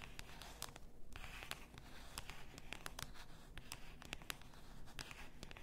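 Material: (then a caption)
Glass. Long nails tap and scratch along the sides and neck of a full bath salt bottle, likely glass. Sharp, dry clicks with a bright edge come in an uneven stream over a soft scratchy hiss and a steady low rumble. Each tap dies almost at once, with no ringing.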